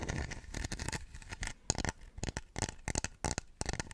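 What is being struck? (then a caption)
Small stone warrior figurine. A small, solid-looking Chinese terracotta-style stone warrior statue, about forearm length, is held in both hands in front of a microphone and scratched and tapped with long nails and fingertips. The result is a quick, uneven run of dry, close scratches and short taps, each with a low thump under a bright scraping edge and almost no ring.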